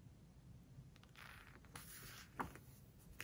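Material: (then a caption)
Glossy paper. A fingertip and long nails rub across the glossy paper page of a large open hardcover book, making a quiet, soft brushing hiss with brighter swishing scrapes. The page edge is then lifted and bent with the fingers, giving a few sharp, crisp crinkles and snaps over a low, faint background rumble.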